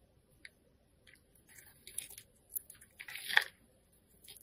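A hand-sized oval green solid soap bar is held in the fingers and carved with a metal cutter blade that shaves off curls. Repeated soft scraping and crisp cutting sounds come in short, bright bursts with no low rumble, growing busier and peaking in a sharp crunchy scrape near the end.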